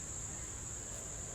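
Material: Nothing is struck.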